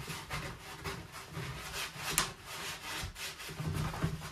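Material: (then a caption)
Plastic. A gloved hand scrubs the slotted plate section of an empty white perforated plastic dish drying rack with a sponge while the rack is held upright on the drainboard. Steady, uneven swishing and rubbing strokes carry bright hiss over a low rumble, with a brief sharp scrape partway through.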